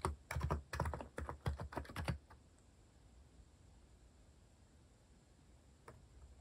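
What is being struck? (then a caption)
Mechanical keyboard with plastic keycaps. Fingertips type quickly on a compact white-cased Hanmumu mechanical keyboard with cat-themed plastic keycaps, producing a burst of deep, thocky clacks with very short decay for about two seconds. The typing stops, leaving quiet low background hum, and a single faint key tap sounds near the end.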